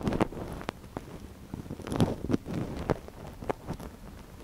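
A thin wooden stick held in one gloved hand scratches inside the canal of a small, soft silicone ear on a binaural microphone. Close, muffled rustling and scraping fill the clip, with a series of sharper scratchy ticks standing out over a low, breathy rumble.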